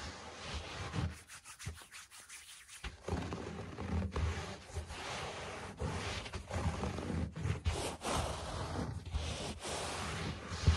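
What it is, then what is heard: Low-pile carpet scratched. Fingertips rub and scratch across the pile of a low-pile speckled carpet, making a close, dry, brushing texture weighted toward the low end. Scratchy strokes come in uneven bursts with a quieter stretch early on, and a sharper scrape stands out near the end.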